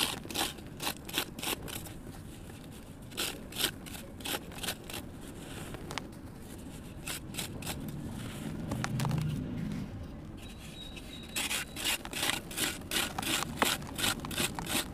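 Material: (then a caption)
Sand cement. A metal kitchen knife scrapes and shaves the surface of a small, solid, crumbly red sand cement block held in hand, in repeated strokes. Quick, bright, gritty scrapes come in bursts, thinning to a quieter stretch with a soft low rumble midway before the strokes pick up again. Dry powder sheds off the block into a bin.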